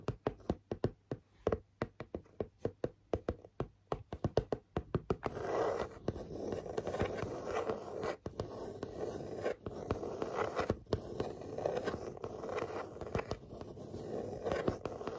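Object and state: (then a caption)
Cardboard panel tapped and scratched with nails. Long natural nails tap and scratch a flat grey chipboard or cardboard panel with a pink stitched fabric border, held upright. A quick run of short, dry, dull taps gives way after about five seconds to steady rasping scratches across the surface, with occasional sharper taps breaking through. The sound stays soft and muted, centered in the low mids with almost no bright edge.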